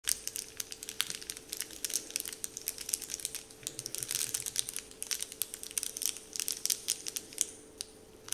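Fingertips and short nails crinkle and scratch the surface of a large, flat, heart-shaped sheet of crinkly Dove-printed candy wrapper paper lying on a wooden table. Soft, bright crackles and rustles come in quick, irregular bursts over a faint steady hum, with each crackle dying away almost instantly.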